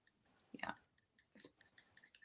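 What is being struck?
Faceted glass earring stones.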